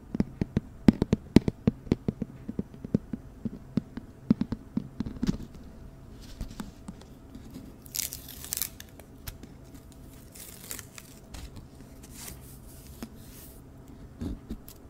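A hollow, medium-sized white cylindrical cardboard hat box, also used as a flower box, is held close and tapped and scratched on its side with long nails. Quick, irregular sharp taps crowd the first five seconds. Quieter scratching follows, with bright, hissy scraping bursts and a low steady hum underneath.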